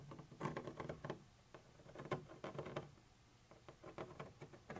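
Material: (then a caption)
Plastic. A thin metal pointer tip scratches and taps across a white translucent textured plastic surface. Quiet, irregular bursts of short, dry scratches and crisp ticks come in uneven clusters, with a soft low body and faint bright edges that die away almost instantly.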